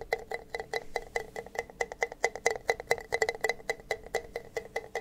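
Two identical empty, hollow red plastic party cups, held upside down close to the mic, are tapped with fingertips and nails on their bases and sides. About 28 quick, dry taps come in an irregular rhythm, each with a hollow tone near 470 Hz, a brighter click around 2 kHz, and almost no ring.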